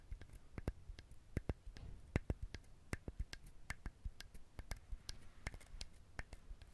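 Fingernails tap and scratch the hard shell of a whole coconut held close to the mic, making a rapid, irregular series of sharp, dry clicks. Each click has a dull, low body with a bright tick on top and dies away almost at once, over a faint scratchy rustle.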